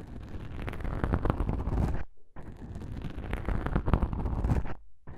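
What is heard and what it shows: Black foam microphone windscreens, soft and porous, are pressed together and rubbed and scratched by one fingertip with a long nail. This makes a close, deep, crackling rumble in two long bursts separated by a short pause, with a third starting at the very end.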